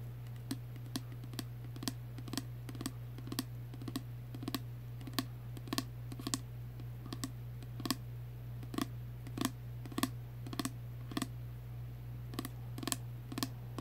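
A tall, slim pink plastic spray bottle full of liquid, with a clear cap, is held upright and tapped with fingernails. About 29 quick, dry clicking taps land at an uneven pace over a steady low hum.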